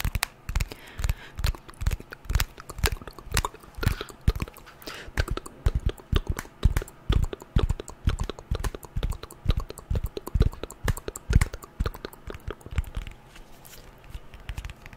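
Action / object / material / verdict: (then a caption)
tap / smartphone with glass screen and aluminium frame / glass, aluminium / none. Long nails tap and scratch the glass screen and metal edges of a white glass-and-aluminium smartphone. The result is a rapid, irregular stream of short, dry clicks with a soft low thump beneath them, broken up by brief scratchy passages. The taps thin out slightly toward the end.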